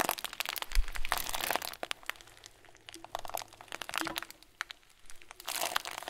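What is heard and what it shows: A clear plastic bag full of tiny white foam beads, closed with a twisted plastic end, is pressed and squeezed with both thumbs. It produces dense bursts of bright, crisp crinkling and crackling with sharp little clicks, separated by brief quieter pauses.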